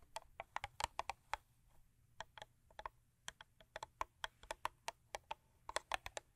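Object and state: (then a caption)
Paperboard box tapped with nails. Long acrylic nails, with rings worn on several fingers, tap and scratch the top and front of a closed, long thin purple Crest paperboard toothpaste box lying on fur. About 28 quick, dry, clicky taps come in an uneven run, each with a bright tick and a hollow papery knock. Soft scratching fills the gaps at a quiet level, and nothing rings on.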